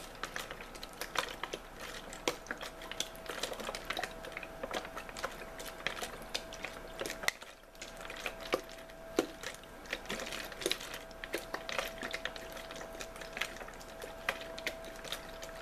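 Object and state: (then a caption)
Plastic water bottle, crinkled and tapped. A clear plastic water bottle, held horizontally and possibly holding a small amount of water, is crinkled, rubbed and tapped by fingers and nails. Dense bright crackles and sharp hollow clicks continue throughout over a faint steady mid tone, with a brief lull around the middle.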